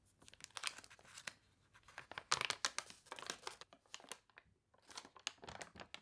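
A thick, glossy paper toy catalog with water-crinkled pages has a page turned, then fingertips and nails rub across the spread. The result is a quiet run of dry, bright crinkles and crunches in short, rapid bursts with little low end, separated by brief pauses.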